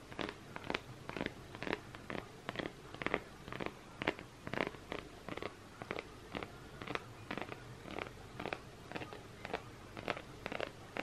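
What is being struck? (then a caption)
Fused plastic bead coaster. Fingernails scratch and tap the bumpy surface of a round, flat, hand-sized, multicolour coaster made of solid fused plastic beads. The result is a steady series of short, crisp clicks and scrapes at a soft level.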